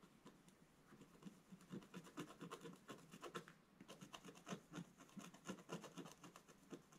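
A wooden scratch stylus makes fast, repeated scratching strokes across the black coating of a solid scratch-art paper page in a book lying flat on a table. The result is a dense run of short, dry scraping strokes with a low body and a bright, gritty edge, pausing briefly near the middle before resuming.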